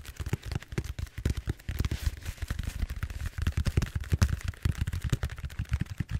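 Fingertips quickly tap and scratch the surface of a large purple bead-foam styrofoam roller held upright. The result is a rapid, uneven stream of short, dry, muffled thumps centered low around 78 Hz, with faint scratchy texture above and almost no ring after each tap.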